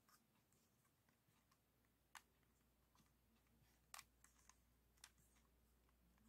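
Fingertips and short nails repeatedly tap the plastic tiles on different faces of a 3x3 plastic speed cube held in both hands. The result is quiet, dry, bright clicks with very short decay, a few sharper, louder taps standing out among softer ones, over a faint low hum.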